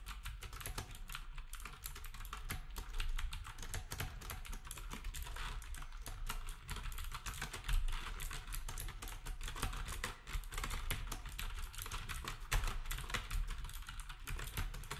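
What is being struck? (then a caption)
Compact keyboard with round plastic keycaps. Fingertips type steadily on a black compact plastic typewriter-style keyboard with round plastic keycaps. Rapid, uneven key clicks and clacks run throughout, with bright transients over a constant low rumble.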